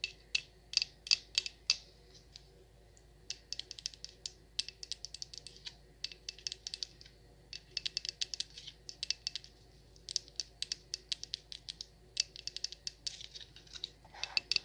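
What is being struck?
Wax pillar candle tapped with long nails.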